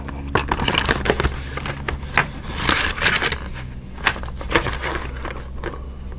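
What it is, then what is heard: Cardboard crayon box. A small, hollow yellow Crayola cardboard box, likely full of crayons, is held upright in both hands while fingertips tap and scratch its printed back panel. Quick, dry papery taps and bright scratchy bursts come one after another over a steady low hum, with little ring after each touch.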